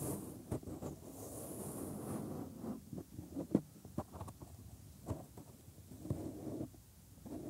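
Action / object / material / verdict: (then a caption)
scrape / silicone microphone ear / silicone / none. Bare thumbs press into and rub the inner folds of the white silicone ear molds on a 3Dio binaural microphone, bending the soft silicone. Close, muffled low rubbing and squishing fill the clip, broken by a few short, sharp pops and clicks as the silicone flexes.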